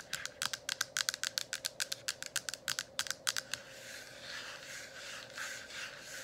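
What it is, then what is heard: Plastic diffuser dome cover. Long acrylic nails tap rapidly on both sides of the hollow, translucent plastic dome cover of a running essential-oil diffuser lit with color-changing light. About 24 quick, bright, clicky taps come in an uneven run over the first three and a half seconds. The tapping then gives way to a soft, airy high hiss that continues to the end.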